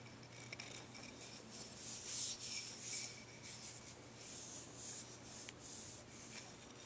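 Fingertips rub and scratch the rough surface of a pale, solid deer antler dog chew held in both hands. The result is a quiet, bright, raspy scratching that swells and fades unevenly, with a few sharp clicks and a faint steady low hum underneath.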